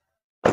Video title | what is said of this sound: Gokil.!! Harga Paling Miring Dp Kecil // Kredit Macet Bisa Kami Bantu Lunasi | kita tutup Coba suaranya masih oke sekali lagi